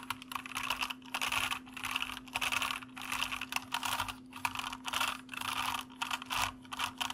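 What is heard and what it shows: Both hands type with bare fingertips on a full-size white plastic mechanical computer keyboard with hollow keycaps, resting on a desk with a foam wrist rest in front and a Tascam DR-05X recorder above it. Rapid bursts of bright, clicky key presses come in waves separated by brief pauses, over a faint steady low hum.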